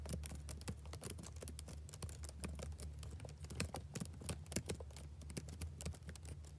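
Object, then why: Plastic laptop keyboard. Fingertips type steadily on the keys of a black plastic backlit laptop keyboard, making a rapid stream of short, bright clicks with a few louder taps. A steady low hum sits beneath the typing throughout.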